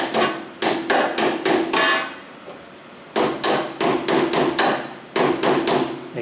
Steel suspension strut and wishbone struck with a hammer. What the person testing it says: can hear that change, so you know you're in all the way.